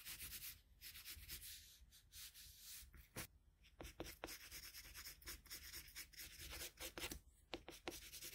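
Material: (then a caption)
Paper. A red colored pencil in a metal extender, held in the fingertips, rubs repeatedly in shading strokes over a drawn figure on flat white drawing paper. The result is a soft, bright, scratchy rasp in a steady run of quick strokes, with brief pauses between bursts.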